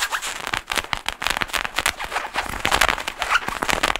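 Fingertips and nails of both hands scratch and rub the shiny nylon fabric of a black padded nylon jacket hood with a faux fur rim, worn on the head. The result is a dense run of quick, crackly, bright scratching bursts with almost no low end, each one dying away almost instantly, continuing for about four seconds.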